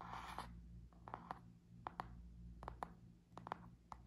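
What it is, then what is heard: Cardboard-covered spiral notebook. Long nails tap and scratch the laminated cardboard cover of a small spiral notebook with black metal wire binding, held in both hands. A brief rough scratch opens the clip, followed by about twelve quiet, sharp, dry taps at an uneven pace over a steady low hum.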